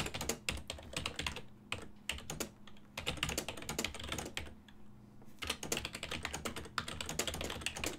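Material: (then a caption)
Plastic. Fingertips type on a full-size black and silver plastic ergonomic desktop keyboard with hollow key switches, producing rapid, bright, short plastic clicks. The typing comes in bursts with brief pauses near the 2.5 and 5 second marks, over a faint steady low hum.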